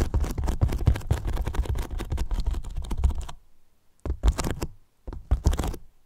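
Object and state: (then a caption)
Polyethylene foam box. Fingertips quickly tap and scratch the top and edges of a large, white, hollow polyethylene foam box. The result is a dense run of soft, deep, hollow thuds and scratchy rustles for about three seconds, then a pause and two shorter bursts.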